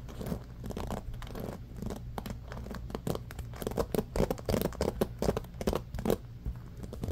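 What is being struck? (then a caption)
Bamboo paddle hairbrush with rubber cushion and wooden pins. Fingertips scratch fast and aggressively through the wooden-tipped pins of a small bamboo paddle hairbrush with a black rubber cushion, resting on a blanket. The result is a dense run of quick, dry scratchy rasps and crackles over a steady low rumble.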